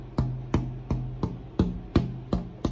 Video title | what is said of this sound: Thicknessing the guitar top for maximum tone | i tap it you can hear a couple of different musical sounds they're faint